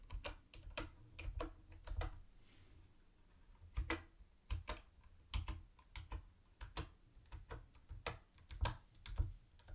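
Fingertips type on a mint-green, hollow-bodied plastic typewriter-style keyboard with round white plastic keycaps. About two dozen sharp, clacky keystrokes land at an uneven pace, each carrying a low, hollow thump. There is a brief lull near the middle before the typing resumes.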